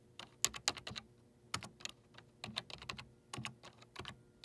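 Fingertips rapidly tap the hollow keycaps on the number pad of a black plastic desktop computer keyboard. Quick, bright plastic clicks come in short bursts, each dying away almost instantly, with little low end beneath them.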